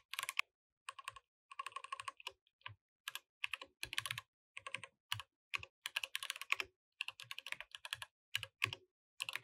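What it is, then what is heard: Mechanical keyboard with plastic keycaps. A compact mechanical keyboard with beige and orange plastic keycaps, resting on a grey desk mat, is typed on continuously with the fingertips of both hands while the mouse sits idle beside it. Bursts of quick, bright, clacky keystrokes with almost no ring come in short runs separated by brief pauses, with a faint low thud under each press.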